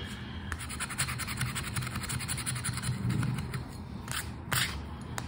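A flat paper Joker scratch card has its coating scraped with the edge of a red and gold token. Quick back-and-forth scratching strokes make a steady, bright, gritty rasp over a low background rumble, with a few louder, sharper strokes toward the end.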